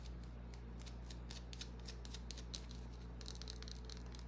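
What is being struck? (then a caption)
Small bar of soap. A small, solid white bar of soap held in the hand is scratched with long, dark-painted nails, its surface flaking. Quiet, rapid, irregular scratchy ticks with a bright crackle sit over a steady low hum.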